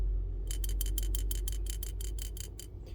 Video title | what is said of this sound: 18- motobineuse : panne au carburateur ? | normalement quand on secoue, on entend le flotteur.